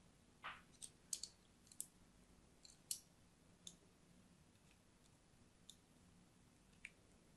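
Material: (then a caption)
Soap. A thin metal blade cuts lines into the surface of an orange and white striped solid soap bar held in the hand. The result is a quiet series of short, bright, crisp clicks and scrapes at an uneven pace, with a faint low hum between them.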